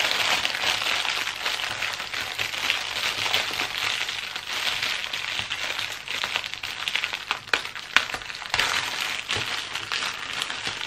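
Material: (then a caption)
Plastic film. Hands and fingertips press, smooth and crinkle a thin clear plastic packaging bag wrapped around a medium-sized patterned fabric pencil case. The result is a steady, bright, dense crinkling with rapid crackles throughout, and a few sharper snaps stand out near the eight-second mark.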